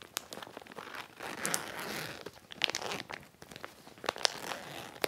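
Fingertips squeeze, crinkle and run along the zipper edge of a medium clear heavy plastic (vinyl) zippered storage bag with white trim, filled with a folded dark plaid fabric item. Bright, crisp crinkling and rustling swells and fades, broken by sharp snapping ticks with almost no low end.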